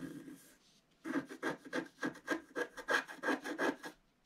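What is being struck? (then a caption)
Coated scratch art paper card scraped with a wooden stylus. A wooden stylus scratches the black coating off a flat, solid scratch art card of coloured foil paper, about A4, lying on a table, clearing larger areas. A short scratchy rasp and a brief pause give way to a fast run of rhythmic, dry rubbing strokes with a faint papery hiss.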